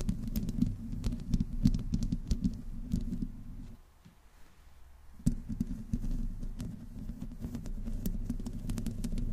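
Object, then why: Metal mesh microphone grille. Long nails slowly scratch the metal mesh grille of a black microphone, mostly with one hand, giving a dense, low, rumbling scrape sprinkled with faint bright crackles and clicks. The scratching fades into a near-silent pause around the middle of the clip, then resumes abruptly with a sharp click and continues steadily to the end.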